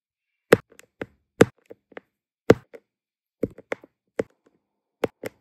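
A plastic drill pen tip taps down again and again, placing small, solid, round resin diamond painting drills in many colours onto a flat, sticky adhesive canvas. The result is a string of soft, dry, midrange clicks at irregular intervals, each dying away almost instantly, with a few fainter taps between them.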